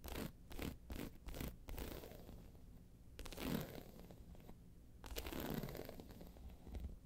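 Long pointed nails scratch the round face of a round, hollow, tan croc-embossed faux leather handbag lying on its side. A quick run of short, dry scratching strokes gives way to longer, raspy scrapes with a hollow low body.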